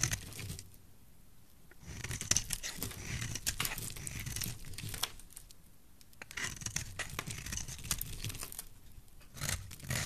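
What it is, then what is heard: Dry bar soap being scraped with a blade. A utility knife blade scrapes and cuts thin curls from a solid, dry, hand-sized yellow bar of soap held in one hand. Bursts of rapid, crisp, bright scraping and crunching strokes alternate with brief quiet pauses, with a soft low rumble beneath each cut.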